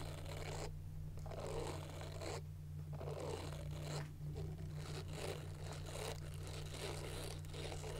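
A small round handheld silicone face cleansing brush, with a white plastic back and a pink silicone bristle face, is scratched and tapped with long nails. The result is a steady run of dry, crackly scratching bursts over a constant low hum.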